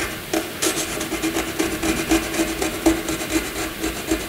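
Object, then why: Graphite pencil on paper sheet. A black wooden graphite pencil scratches small zigzag strokes across a flat white sheet of paper. Dry, bright rasping strokes repeat in a loose, uneven rhythm, each a short, papery scrape with a faint mid-range tone and little low end.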